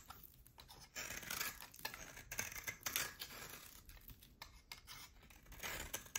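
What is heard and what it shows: A utility knife blade cuts a solid oval bar of hard soap, with a pale core and a black rim, into chunks. Bright, dry scraping and crisp crackling bursts repeat unevenly throughout, with little low end.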